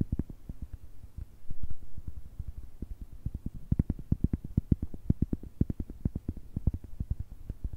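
A round, thick, solid cork coaster is held close to the microphones and tapped and scratched with long nails on its face and edge. The result is a rapid run of dull, low, muffled taps with almost no ring, broken by a brief louder patch of scratching.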